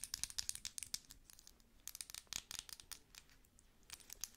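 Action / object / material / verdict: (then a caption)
tap / thick glass cosmetic jar with lid / glass / none. Long nails tap the base and gold lid of a thick glass cosmetic cream jar. Quick, bright clicky taps come in rapid bursts with a quieter stretch in the middle, each tap dying away almost instantly with no ring.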